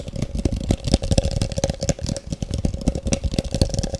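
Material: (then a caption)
Plastic. A large, empty, hollow, translucent frosted plastic cup is held up close and tapped fast with the long fingernails of both hands. The result is a rapid, uneven stream of dull, low knocks with a steady hollow ring in the mid range and short, sharp clicks on top.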